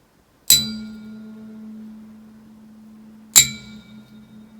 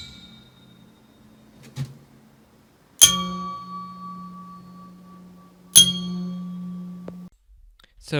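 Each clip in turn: First: sound cylinder head stud. Second: cracked steel cylinder head stud.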